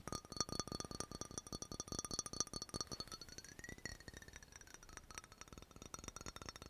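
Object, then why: Glass dropper bottle. Long nails tap rapidly on the glass surface of a labeled amber (brown) glass dropper bottle. The result is a dense run of short, bright clicks and clinks that ring only briefly, with a faint tone near 1.2 kHz sliding up toward 2 kHz and back down midway through.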